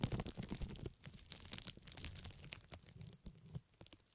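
Fingertips and long nails of both hands scratch and crinkle loose pink plastic cling film covering both ears of a microphone. Dense, irregular crackles and rustles with bright, sharp edges sit over a low, rumbling handling thump. It is loudest in the first second, then settles into quieter, steady crinkling that fades toward the end.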